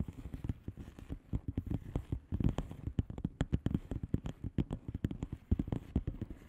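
Long polished nails on both hands tap and scratch the plastic bubble wrap surface of a flat padded envelope lying on a table. The result is a quick, dense patter of soft, dull clicks and light crackling scratches. Each tap is low and short, dying away almost instantly.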